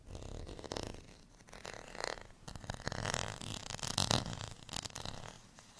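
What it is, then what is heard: Plastic rice paddle scratched. Fingernails scratch the ridged edge and textured face of a small, solid, beige plastic rice paddle. The result is a series of dry, raspy scraping strokes that swell and fade, with a bright, gritty texture over a soft low rumble.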